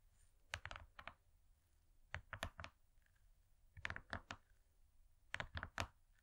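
Long nails tap rapidly on a thin, flat, gold-laminated foil cardboard cake board. Quick bursts of crisp clicks come in clusters with brief pauses between, each tap sharp and dry with a low thump under a bright tick.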